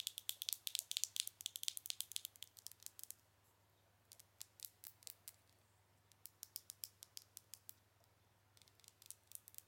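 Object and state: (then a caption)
Glass pomade jar with plastic lid. Long acrylic nails tap on the black plastic screw lid and glass side of a small glass cosmetic pomade pot, making crisp, high-pitched clicks with almost no ring. A rapid flurry of taps runs for about three seconds, pauses, then returns as sparser, irregular taps with a short burst at the end.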